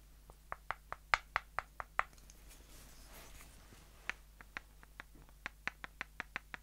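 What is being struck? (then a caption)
Light-wood dowel sticks. Two short, solid light-wood dowels are knocked end to end and tapped against each other by hand. They give 19 sharp, dry clicks with a bright woody tone, in two uneven bursts separated by a quiet pause. Each click dies away almost instantly, with a faint low hum underneath.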